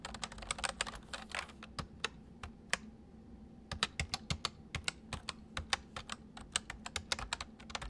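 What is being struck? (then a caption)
Plastic mechanical keyboard keys. Fingertips of both hands type and press keys on a white full-size MSI plastic mechanical keyboard with hollow keys, resting on a desk. A fast flurry of sharp, bright clacks opens the clip, then thins to scattered presses and a brief pause. Steady typing resumes with crisp, quickly damped clicks over a faint low hum.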